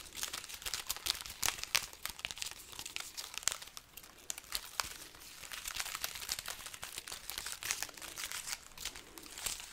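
A garland strand of dry, hollow red chili peppers is scratched and crinkled with long nails and fingertips. The result is a steady, bright, papery crackle of dense little clicks and rustles, with sharper snaps standing out now and then and almost no low end.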